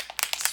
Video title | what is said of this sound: Easy daytime makeup tutorial | when you shake it it sounds like a great nice spray paint can